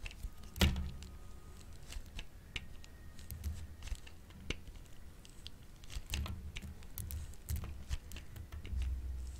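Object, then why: Bar of soap scraped on a plastic grater. A solid, hand-sized light-green bar of dry soap is scraped over and over with a grey-green plastic grater with a metal blade, and the soap curls fill the tool. The sound is a steady run of short, crisp scraping strokes with a low, soft undertone, broken by sharp bright clicks. There is a louder snap near the start, and dense rasping bursts come toward the end.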